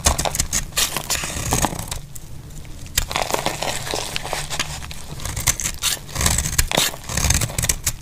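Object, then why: Bar of soap shaved with a blade. A metal utility blade shaves curls off a solid, rectangular, cream-colored "Deep Fresh" dry soap bar held in the hand. The cuts make dense, crackly scraping and crisp crumbling bursts, bright on top with a steady low rumble underneath. Strokes come in quick clusters with brief quieter gaps, ending on a flurry of sharp shavings.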